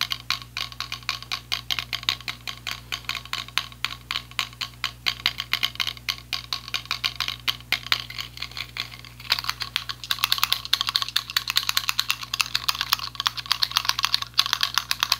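A small, hollow white and light-blue plastic selfie ring light is held up and tapped quickly with the fingertips. It gives a rapid, steady stream of short, bright plastic clicks over a faint low hum, and the tapping grows louder and denser after about nine seconds.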